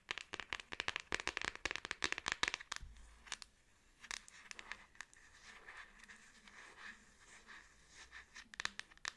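Long acrylic nails tap and scratch the black plastic back case of a Samsung smartphone held and tilted in both hands. A quick run of sharp, bright clicks fills the first few seconds, then gives way to softer, rasping scratches with occasional crisp taps. The sounds are dry and close, with a faint low hum underneath.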